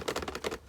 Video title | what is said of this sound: How to stop rattles in your motorhome - Motorhome / Caravan Tips, Tricks & Improvements | If I shake it, there's very little rattling. Admittedly, those tablets do rattle, but you know, not a lot.